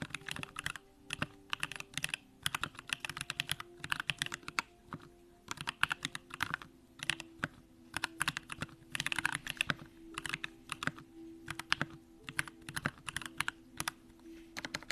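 Continuous two-handed fingertip typing on a compact Bakeneko65 mechanical keyboard with an aluminum case, Durock lavender switches and pink plastic keycaps. It produces a rapid, uneven stream of short, bright clacks and clicks that stop dead, with brief pauses between bursts.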